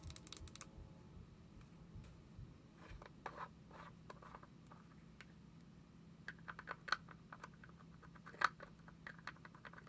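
Long acrylic nails tap a small, round white plastic jar with a lid, held in one hand. The taps are quiet, sharp plastic clicks that come at an uneven pace, with a few brighter, louder taps toward the end. A faint steady low hum sits underneath, with a brief rustle at the start.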